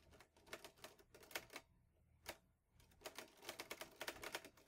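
Fingertips type on the round keys of a mint-green Olivetti Lettera 22 portable manual typewriter with a metal body and paper loaded. Its sharp, bright mechanical key and typebar strikes come in irregular bursts, with a quieter pause near the middle broken by a single strike. Each clack stops almost at once.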